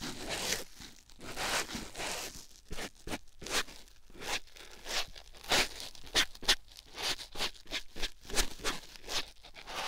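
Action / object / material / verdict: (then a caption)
scrape / foam sponge on silicone microphone / foam / none. A white foam sponge block held in the fingers is pressed and rubbed against a silicone ear microphone, giving a series of soft, bright, scratchy rustling strokes. The bursts are short and crunchy, with little ring after each one, over a low, steady rumble.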